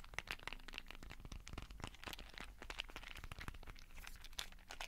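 A small clear plastic case full of colorful beads is held above a microphone, tapped and scratched with fingertips and nails, and shaken. The result is a quiet, continuous stream of dense, sharp clicks and crackling rattles with bright ticks over a soft low rumble.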